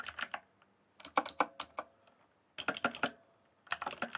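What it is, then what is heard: Plastic mechanical keyboard. Fingertips type fast on a rainbow-backlit mechanical keyboard with plastic keycaps. Four quick bursts of sharp, bright clicks are separated by short pauses. Each keystroke is crisp and dies away almost instantly.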